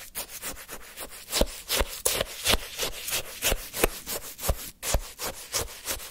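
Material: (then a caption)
Ice. A wooden stick scrapes, scoops and churns the crushed ice of a frozen orange shaved-ice sherbet in a paper cup. The result is a steady run of crisp, gritty, bright scraping strokes, about three per second and somewhat uneven, with short, dry crunches.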